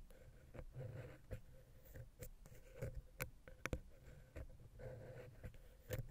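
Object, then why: Metal microphone capsule tapped with a wooden pick. A wooden ear pick taps and scratches between the heads of a small, hollow, silver metal X/Y microphone capsule on a Zoom H6. Quiet, close, low-heavy scraping swells in soft bursts with a faint hollow ring, broken by sharp, dry clicks that die away almost at once.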